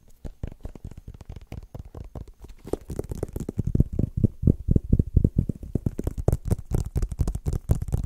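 Fingertips and short nails tap and scratch a small, white, rigid cardboard iPhone box that appears closed and is held in both hands. The result is a quick, irregular run of short, dry, hollow thumps, heavy in the low end. About a third of the way in, the taps grow louder, with brighter scratchy clicks mixed in.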